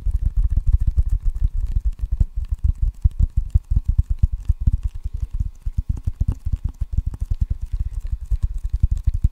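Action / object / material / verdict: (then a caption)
tap / wooden table tennis paddle with rubber facing / wood, rubber / none. A solid wooden table tennis paddle with red rubber facing is held close to the mic and drummed with fingertips on the rubber. It makes a fast, steady run of dozens of soft, low, muffled thuds that stop almost instantly, with no bright ring.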